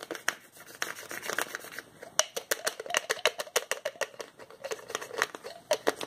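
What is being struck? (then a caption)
Plastic pill bottle with cap. Fingertips twist and click the white plastic cap of a small, hollow orange plastic pill bottle and rub along its sides. The result is a quick run of many sharp, bright plastic clicks and ticks with very short ring, mixed with soft scraping and squeaky, gliding rubbing tones around 600 Hz.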